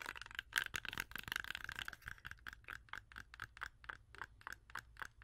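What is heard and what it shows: A whole, solid, fresh red-yellow apple held in both hands is tapped and scratched with long orange acrylic nails. Quick, dry clicks and scratchy rasps come in a dense, irregular flurry at first, then settle into a steadier run of separate taps. Each tap is short, with a bright tone centred near 1.6 kHz and no ring.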